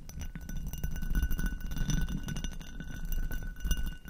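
Long acrylic nails tap and scratch the bowl of an inverted, hollow, empty amber hobnail glass goblet. The result is a dense run of quick, dull clicks and scratchy rubbing with a heavy low body, and faint, steady high glassy tones ringing above.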